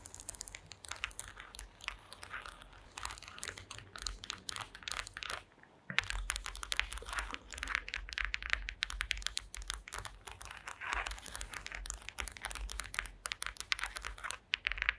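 Long green acrylic nails scratch and tap across the slats of a woven wooden slat mat. The result is a dense run of dry, crackly clicks and scrapes with a bright edge and no ring, broken by a brief pause near six seconds.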